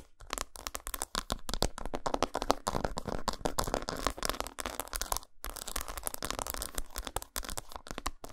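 An unwrapped solid dark chocolate bar, patterned side up, is scratched and tapped quickly with long pointed nails. Dense, rapid, dry clicks and scrapes run almost continuously, each very short and crisp with no ring, broken only by a few brief pauses.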